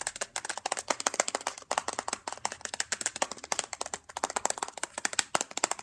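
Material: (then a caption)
Plastic. Fingertips tap rapidly on the back casing of a closed, black matte plastic Nintendo DSi handheld console held in one hand; the small, hollow console gives off about 40 quick, dry clicks. Each tap is bright and sharp with almost no low end, and it dies away almost instantly.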